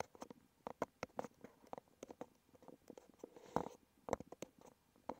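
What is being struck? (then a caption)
Small cardboard box. Fingertips and nails tap and scratch the front face of a small red cardboard medicine box resting on a wooden table. The result is a quick, irregular run of short, dry, hollow taps around 530 Hz, mixed with faint papery scratching and a few louder knocks. Each tap dies away almost instantly.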